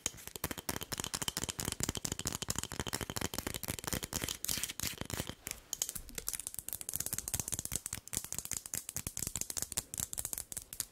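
A medium glass candle jar with a paper label and glass lid, filled with solid cream-colored wax, is held in both hands and tapped and scratched with long nails. A rapid, continuous stream of crisp, bright clicks and scratchy ticks is heard, each dying away almost instantly, with a slightly softer stretch in the middle.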